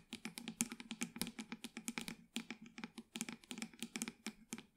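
Long nails tap and lightly scratch a small, hollow black plastic pot holding an artificial green plant. About 29 quick, crisp clicks come in a rapid, uneven rhythm over nearly five seconds. Each has a bright edge over a hollow low body and dies away almost at once.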